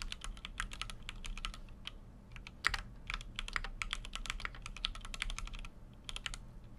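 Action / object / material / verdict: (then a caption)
tap / mechanical keyboard with aluminum case and plastic keycaps / plastic, aluminum / none. A full-size Keychron Q6 mechanical keyboard, with an aluminum case and plastic keycaps, is typed on continuously with the fingertips of both hands. Rapid, sharp keystroke clacks run throughout, bright and centered near 2 kHz, over a steady low hum. One stroke lands noticeably harder near the 2.7-second mark.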